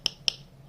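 Two knocks on a 3D-printed plastic lens cap, tested against another cap for comparison. Each gives a short, sharp tick centred near 3 kHz with almost no low end, and the cap's sound is judged a good thud.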